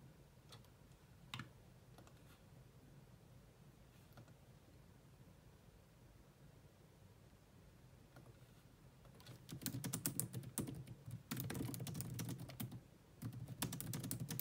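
Long nails and fingertips type on the low-profile plastic keys of a grey laptop keyboard. A few scattered, isolated key clicks come first, then from about nine seconds in, dense, rapid bursts of bright tapping with short pauses. Each click is short and dry with almost no ring.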